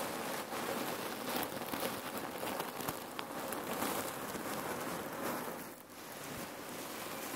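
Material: Cherry pits.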